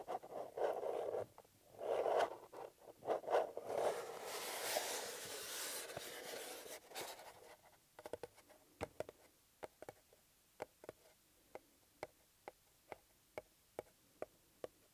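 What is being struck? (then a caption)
Small closed cardboard box. Fingertips and nails scratch the top of a small, flat, closed, hollow EMTEC cardboard box covered in blue paper while it is held and tilted in one hand. About eight seconds of dry, rasping scratches come in bursts with a hollow midrange tone. These give way to a steady run of short, crisp taps, each dying away almost at once.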